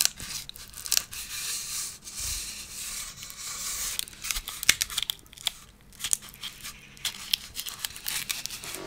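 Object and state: Plastic fly swatter racket with metal mesh.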